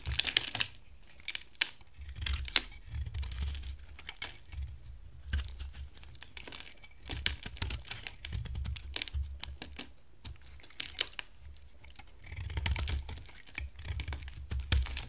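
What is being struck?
Bar of soap cut with a blade.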